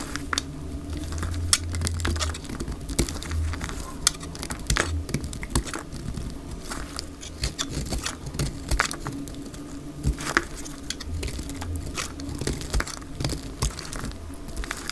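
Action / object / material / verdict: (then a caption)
scrape / bar of soap cut with a blade / soap / none. A solid, dry orange bar of soap held in the hand is scraped and cut with a utility knife blade, shaving off thick curls. Steady dry scraping and crinkly patter run throughout, broken by many sharp, bright clicks and snaps as the blade bites and the curls break away, over a low rumble.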